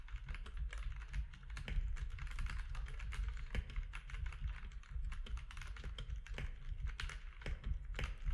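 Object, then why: Mechanical keyboard with plastic keycaps. Fingertips of both hands type quickly on a compact mechanical keyboard with grey, white and orange plastic keycaps. Short, crisp plastic clacks come in a dense, steady stream over a constant low hum, each keystroke dying away almost instantly.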